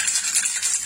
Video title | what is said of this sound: ACOUSTIQUE - Comment peindre un diffuseur en polystyrène | Quand vous commencez à bien entendre la bille cogner de haut en bas et faire résonner la bouteille, en fait la peinture elle est déjà bien mélangée